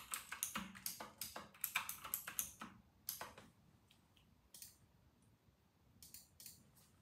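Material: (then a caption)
Plastic. Fingertips of both hands type on a full-size white RK960 mechanical keyboard with round typewriter-style plastic keycaps, resting on a white desk. Bright, sharp plastic clacks come in a quick, dense run for about three seconds, then thin out into scattered keystrokes with short pauses between them.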